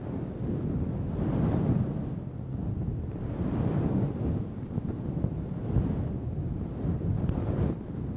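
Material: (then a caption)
Synthetic fur. A makeup brush with a red metallic handle steadily brushes a fluffy grey-black synthetic fur windscreen over a microphone, which is soft and hollow. The result is a dense, low, muffled rumble like wind or distant surf, with almost no high content, swelling and easing in slow waves as the brushing continues.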